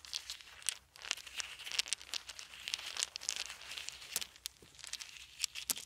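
Small solid wooden beads are held in both hands and rolled between the fingers above a pile of beads on a blanket. The result is a steady stream of quick, bright clicks and crinkly rattles, with sharper taps standing out here and there and no low-end sound beneath them.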